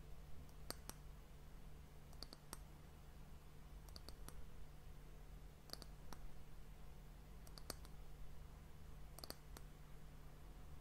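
Long nails tap the top of the round, solid, glossy brown wooden end cap of a glass sand timer, tilted toward the mic. Quiet, dry, bright clicks arrive in small clusters with no ring, over a steady low hum.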